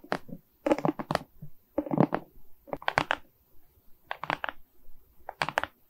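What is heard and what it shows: Long nails scratch and tap across the resin rhinestone beads of a diamond painting set on a wooden frame. Short, bright clicking bursts come in clusters, with brief scratchy rustles between them.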